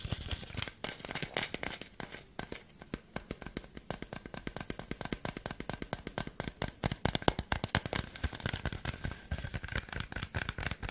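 Fingernails scratch and tap across the label and body of a hollow, green PET Sprite bottle, producing a dense, steady run of short, dry clicks and plastic crinkling. The sound is close and quiet, with a faint steady high whine underneath throughout.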